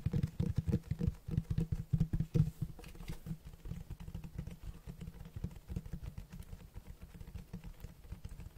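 Fingertips tap and scratch the front cover of a large, solid black Berserk Deluxe Edition hardcover book with a cloth or leatherette cover, held in one hand. Quick, irregular, dull low thumps come loudest in the first couple of seconds, then settle into softer, denser tapping and scratching with almost no ring.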